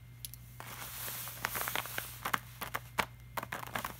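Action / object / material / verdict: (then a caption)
tap / glossy laminated paper poster / laminated paper / none. Fingertips and short nails tap, rub and scratch across a flat, glossy laminated art print poster. A soft rubbing swell in the first half gives way to a quick run of sharp, bright clicks and crackly scratches, all over a faint steady low hum.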